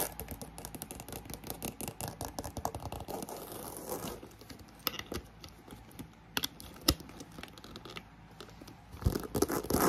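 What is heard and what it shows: Long nails rapidly tap and scratch the side and front of a black croc-embossed faux leather handbag, including the area by its metal clasp, while a fan whirs steadily in the background. A dense, fast patter of dry scratches fills the first four seconds, then settles into quieter scraping punctuated by a few sharp taps. A final flurry of loud scratching closes the clip.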